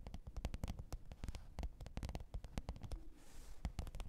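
Long pointed nails tap and scratch the top of a black textured faux-leather hard-shell microphone case with a zipper, lying flat on fur. Quick, dull, low taps come in a steady, uneven flurry, with a brief soft scratching hiss near the end. The sound is quiet and close, with each tap dying away almost at once.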